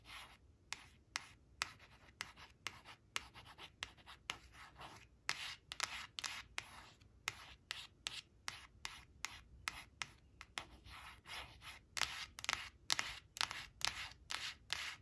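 Long nails trace and scratch along the outline of a brown crayon printed on a thin, flat, glossy coated cardboard flash card resting on a fabric cloth. About thirty quick, dry scratching strokes are heard, bright and hissy with almost no low end. Each stroke stops dead with no ring, over a quiet background.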